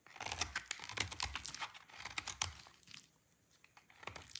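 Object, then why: Soap bar scraped with a blade. A solid, dry pink soap bar held in the hand is shaved and scraped with a snap-off utility knife blade, with curled shavings piling up below. Quick bright scraping and crackling strokes come in a dense run and then thin out. Fainter scrapes follow after a near-quiet pause.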